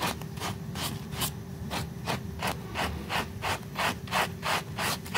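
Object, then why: Small woven fabric rug scrubbed with a stiff plastic brush. A small pink flat-woven fabric rug in soapy foam is scrubbed with a blue plastic brush with white bristles, giving a steady series of wet, bristly rubbing strokes. Each stroke is a short broadband swish with bright hiss, repeating at roughly three per second over a low, constant background hum.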